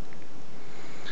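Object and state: Nothing is struck.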